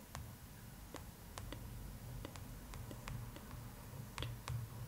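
Long fingernails tap along the top edge of the glossy paper front cover of a large closed hardcover art book, The Art of Spirited Away, which lies on cloth. The taps are quiet, sharp, bright clicks at an uneven pace that die away almost instantly. A steady low hum sits underneath them.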